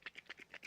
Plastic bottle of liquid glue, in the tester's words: you can hear it's very liquid